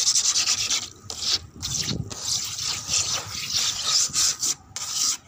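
Long red acrylic nails scratch and rub across a flat, rough grey cement floor with a wet patch of water on it. The result is a steady, hissy, high-pitched scraping in repeated strokes, broken by brief quiet gaps.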